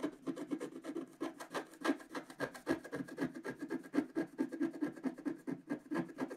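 A pointed wooden stylus scratches the black coating off a flat, solid, notebook-sized scratch-art board lying on a table, revealing a colourful flower picture beneath. A quick, steady run of short, dry rasping strokes with a raspy midrange body and faint bright edges, each cutting off almost at once.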